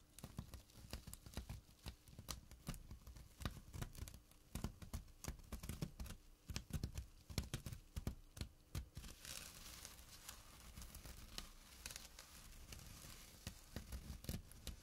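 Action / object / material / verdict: scrape / small burlap drawstring pouch / jute / none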